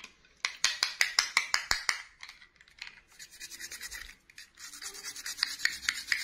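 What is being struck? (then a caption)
Small plastic doll dress scrubbed with a toothbrush. A small, hollow, blue glittery plastic clip-on dress from a miniature princess doll is held in one hand and scrubbed with the bristles of a red plastic toothbrush. A quick run of sharp, bright scratching strokes gives way to softer, rapid rubbing, then louder brisk strokes return. The sound is a dry, high-pitched rasp with no low end.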